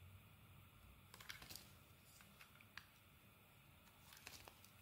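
A metal blade carves thin curls off a purple and white marbled solid bar of soap held in the palm. Quiet, crisp scraping ticks and bright little clicks come in short clusters over a low, steady background hiss, each cut ending almost instantly.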